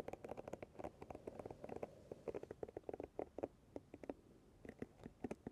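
Long nails and fingertips repeatedly flick and scratch across the pins of a paddle hairbrush held with its pins facing outward. The result is a quiet, irregular stream of quick, dry ticks and scratchy flicks with a warm midrange body and brief bright edges, each dying away almost instantly.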